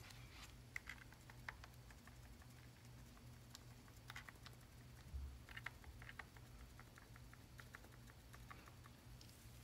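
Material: Plastic, aluminium.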